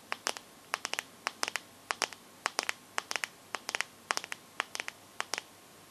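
Long nails tap and scratch the glass back of a teal Samsung phone, producing a rapid, uneven series of sharp, bright clicks in small clusters. Each click dies away almost instantly, with no low-end body.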